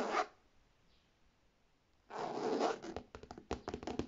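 A brief scratching rub on a medium structured beige faux leather handbag with gold metal hardware, then near-silence, then long painted nails scratching and tapping quickly across its hollow leather front and metal buckle plates. The rasping strokes give way to a run of sharp, separate taps with a bright, papery tone.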